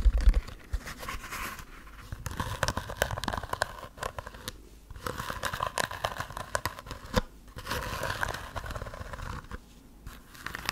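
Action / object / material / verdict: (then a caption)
scrape / heart-shaped fabric pouch covered in plastic sequins / plastic sequins / none. Long nails scratch and rub across a small, soft, red heart-shaped fabric pouch covered in plastic sequins, held in both hands close to the mic. The result is a dense, crinkly scratching with rapid clicky ticks, coming in bursts separated by brief quiet pauses.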